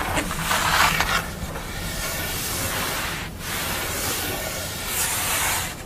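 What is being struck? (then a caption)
Painted paper sheet. Long acrylic nails scratch and rub across a flat sheet of paper or thin board painted with a green and blue face, lying on a towel. The result is a continuous crisp, hissing scrape with swells of brighter scratching, no separate hits, and a brief dip near the middle.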